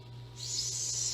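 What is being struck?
Nothing is struck.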